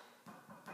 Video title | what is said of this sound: Easy Rustic Bread | you tap it like that and you hear that thunk, that is when you know that it's done